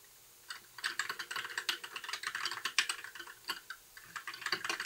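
Fingertips of both hands type continuously on a compact white mechanical keyboard with backlit plastic keycaps. After about half a second of quiet, a rapid, bright clatter of short, dry key clicks begins, with no low-end body. It pauses briefly twice near the end before the typing resumes.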